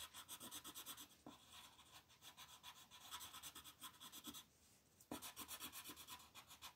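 A light green wooden colored pencil is rubbed quickly back and forth over a flat printed paper coloring sheet on a table, shading in leaves. The result is a steady, bright, scratchy rasp of rhythmic strokes, with a brief softer pause before the strokes resume with a sharp start.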